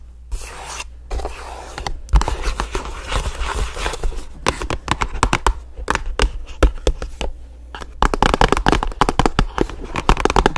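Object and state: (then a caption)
Cardboard box tapped and scratched with nails. Long nails tap and scratch a hollow black and orange paperboard box, making dry, papery scrapes mixed with quick, sharp clicks. The taps come in uneven bursts over a steady low hum, grow sparse just before 8 seconds, then return as a denser, louder run of rapid scratching to the end.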